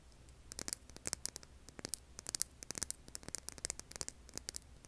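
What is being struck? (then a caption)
Hand-sized rough stone. Long nails scratch and tap the grainy surface of a hand-sized, solid, rough tan rock held in both hands over an earbud mic. The result is a quick, irregular series of sharp, bright, dry clicks and scratches that stop instantly, over a faint low hum and hiss.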